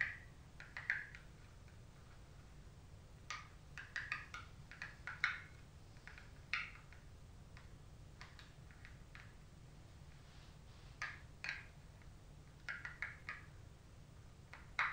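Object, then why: Rigid cardboard makeup palette. Long stiletto nails on both hands tap the front of a rigid cardboard Glow Kit makeup palette with a gold cover, held in both hands. The taps are quiet, short, bright clicks that come in irregular bursts with pauses between. A steady low hum sits underneath.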